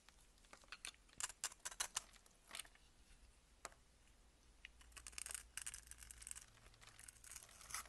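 A box-cutter blade scrapes small cubes off a solid, rectangular, translucent amber glycerin bar soap that is held in the hand and scored in a grid. The result is a quiet series of crisp, bright scraping and crackling bursts with very short decay, clustered early and again toward the end over a faint low hum.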